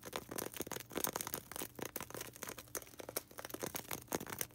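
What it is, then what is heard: Styrofoam ball. A small, solid white polystyrene foam ball held in both hands is scratched quickly with long red nails. The result is a quiet, dense stream of dry, bright scratches and squeaky rubs with short, clipped attacks and no ringing.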